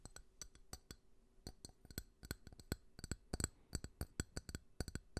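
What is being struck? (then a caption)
Ridged glass drinking tumbler. A small, clear, ridged drinking glass, hollow and apparently empty, is held close and tapped with fingertips and fingernails. About two dozen quick, uneven taps produce short, bright clinks that die away almost at once, with a faint low hum underneath.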